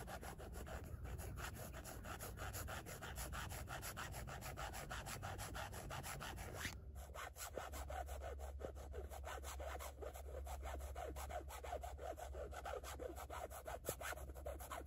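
Long nails scratch and rub back and forth across a black carbon-fiber weave panel with screws at its corners, making a steady stream of rapid, dry, raspy strokes over a low background rumble. Around the seven-second mark the scratching pauses briefly, then resumes with a slightly thinner, grittier texture.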